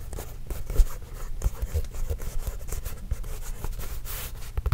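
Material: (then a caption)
Leather. A hollow, inflated Spalding official NBA leather game basketball is tapped and scratched with fingertips and nails. Dull, low, short thumps sound over a soft, continuous scratchy rustle. The taps are deep and die away almost instantly.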